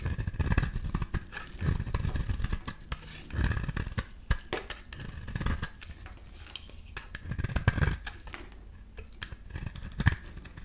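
A metal utility-knife blade is scraped along the face of a solid rectangular beige soap bar in repeated strokes. Each stroke gives a dry, rasping scrape with short crackling bursts. The sound is heavy in low rumble with a thin bright edge.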